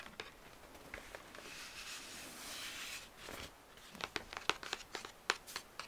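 Fingertips with short painted nails scratch and rub across the printed cardboard of a flat 12-inch LP sleeve for the album 'Honeymoon', with a record inside, held in front of a record shelf, back cover first and then the front. A soft, steady, hissy scratching runs through the first few seconds, followed by a looser string of sharp, crisp ticks and scrapes.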